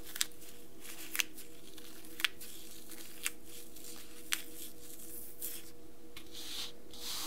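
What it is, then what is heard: Dry floral foam being crushed. Crumbled pieces of dry green phenolic floral foam, a light porous solid, are crushed and rubbed between the palms and fingertips of bare hands on a white table, with intact foam bricks beside them. Five short, bright crackles snap out about once a second over a steady low hum. They give way to softer, hissy crumbling rustles toward the end.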